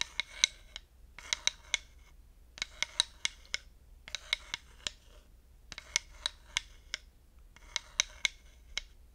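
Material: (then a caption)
Wood. A wooden dowel stick is scratched and tapped along the grooved ridges of a flat, solid, light wooden slotted hot pad. The result is bursts of bright, dry rasping broken up by short, sharp clicks, with brief silences between the bursts.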